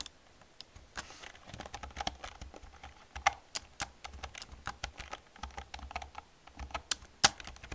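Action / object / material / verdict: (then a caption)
tap / plastic computer keyboard / plastic / none. An old black plastic computer keyboard with hollow plastic keys is typed on with long painted nails and fingertips. The result is a steady stream of quick, bright clicky clacks, with a few sharper, louder taps standing out along the way.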